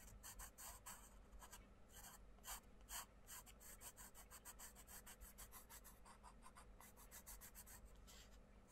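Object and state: Pencil colouring on a paper page.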